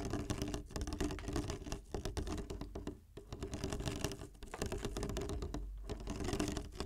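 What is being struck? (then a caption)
Ribbed plastic water bottle with water. Fingertips tap and squeeze the ridged sides of a clear, ribbed plastic water bottle, mostly full of water with the cap on, held upright in both hands. A dense, continuous patter of quick, dull taps and soft crinkles runs throughout, mostly low in tone with a steady hollow note around 410 Hz and very short decays.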